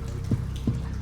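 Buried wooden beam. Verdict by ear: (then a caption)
Hollow. Two low, dull thuds sound as a buried wooden beam is struck, each dying away quickly over a steady low background rumble. The beam is hollow wood.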